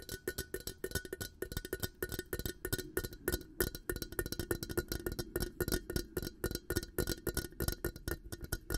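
An empty, hollow, clear glass coffee carafe with a black plastic handle is held over a microphone and tapped on its glass sides with fingertips and nails. A rapid, steady stream of short, dry taps sounds with a faint hollow tone around 355 Hz and a bright glassy click. Each tap dies away almost at once.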